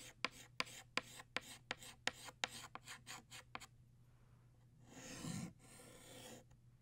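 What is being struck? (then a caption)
Chalk stick on chalkboard. A green chalk stick draws leaves on a flat black chalkboard with scratching strokes. Thirteen short, bright taps and scrapes come in quick succession, followed by a louder, longer hissing rub and then softer, faint rubbing.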